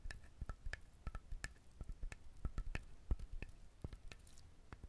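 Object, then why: Whole husked coconut. Fingernails scratch and tap the shell of a whole brown husked coconut held close to the recorder. Quick, irregular clicky scrapes come out as short, sharp, dry ticks with a faint hollow knock underneath, all at a soft, close-up level.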